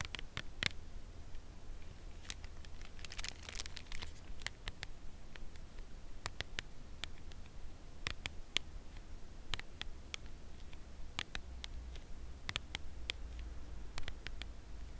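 Long nails tap and scratch the printed face of a full, upright cardboard chocolate bar box. Scattered, crisp, dry taps with bright clicks die away instantly, mixed with brief scratchy crinkling over a steady low hum.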